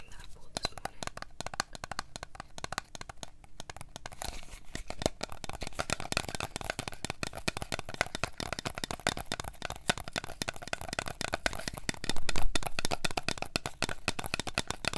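Long nails tap and scratch a small, apparently full Starbucks Frappuccino glass bottle with a plastic shrink label and brown cap. Dense, uneven clicks mix with crinkly scratching on the label, growing busier after about 4 seconds. A louder burst comes around 12 seconds.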